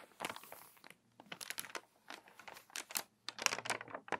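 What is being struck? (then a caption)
Paper magazine pages. Long nails scratch across the pages of a crinkly, water-damaged paper magazine, and a page is turned. Dry, bright crinkling and scratching come in quick bursts with short silent gaps between them. The bursts are quiet, with almost nothing in the low end.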